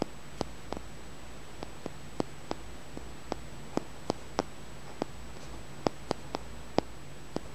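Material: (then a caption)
Stone. A small, solid, flat green polished tumbled stone is held and tapped and scratched with the fingernails. About 17 sharp, dry ticks with almost no ring come at irregular intervals over a low, quiet steady hum.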